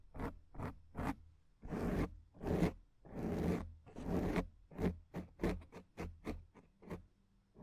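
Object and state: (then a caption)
Foam microphone windscreen scratched. Long acrylic nails scratch and rub the surface of a black foam windscreen on a microphone. About a dozen dull, muffled strokes follow each other: quick short scratches at the start and end, with longer drawn-out rubs in the middle. The sound is heavy in the low end with almost no bright treble.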